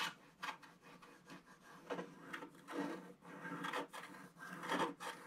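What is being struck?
Coated scratch-art paper scratched with a wooden stick.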